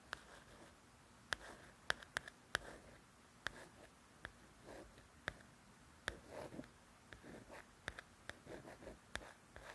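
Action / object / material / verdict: scrape / glossy paper cover of a softcover book / coated paper / none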